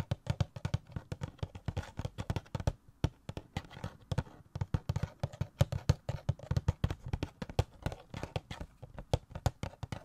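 A small, hollow printed cardboard Flash Funko Pop box with a clear plastic window and the vinyl figure inside is held in one hand and tapped with fingertips and nails close to the microphone. Quick, uneven taps run steadily through the clip as dull, low, hollow thumps with faint clicky edges, each dying away almost instantly.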